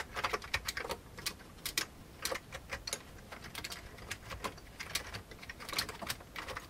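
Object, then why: Plastic computer keyboard. The fingertips of both hands type fast on a full-size old beige plastic computer keyboard with a hollow plastic case. The result is a rapid, uneven stream of bright, hollow plastic clicks and clacks, each dying away almost at once over a faint low background hiss.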